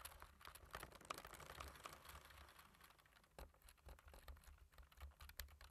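Fingertips of both hands type on the keys of a black plastic computer keyboard, producing a quiet, rapid stream of short, dry clicks and taps. The clicks carry a light midrange tone around 1.2 kHz with a soft low thump beneath, and each one stops almost at once with no ring.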